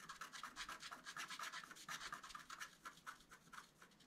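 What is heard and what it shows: A wooden stylus scratches the coating of a flat, black-coated scratch art card in a quick, uneven series of short strokes. Each stroke is a dry, bright scrape centred in the upper midrange, with almost no low end, and fades quickly between strokes.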